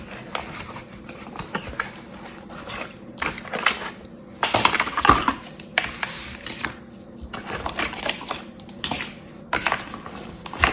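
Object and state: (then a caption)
Plastic sand tub, tapped with fingernails. Long yellow-painted fingernails tap on the lid of a small round clear plastic tub filled with green kinetic sand, which is held in the other hand. The taps come as quick, irregular bright clicks in bursts, with some louder clusters in the middle and near the end.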